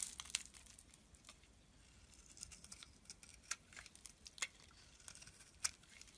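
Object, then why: Bar of soap cut with a metal blade. A metal blade carves chips and slivers from a solid, palm-sized green bar of soap held in the hand. Quiet, bright, crisp crackling and scraping runs throughout, broken by sharp, dry clicks and snaps as pieces break away, with almost no low end and no ring.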